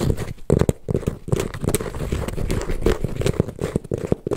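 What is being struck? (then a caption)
Embossed leather handbag. A hollow silver python-embossed leather handbag, held up, is scratched and rubbed with fingertips and nails. The result is a dense run of dry, low, muffled scrapes and soft knocks, broken by quick louder taps that die away almost instantly.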